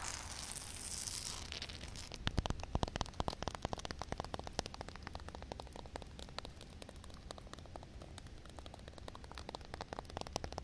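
Fingernail tips scratch and tap on a solid concrete slab covered with a film of water. It opens with about a second and a half of bright, hissy scratching, then turns into a long run of sharp, dry clicks at an uneven pace. A low steady hum sits underneath throughout.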